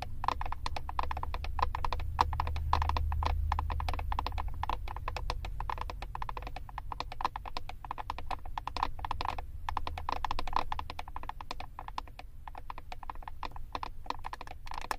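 Long acrylic nails rapidly tap and scratch the back of a flat plastic eyeshadow compact with a paper label. The result is a dense, irregular stream of short, dry clicks with a hollow midrange tone near 1 kHz and scratchy texture between them, all over a steady low rumble that persists throughout.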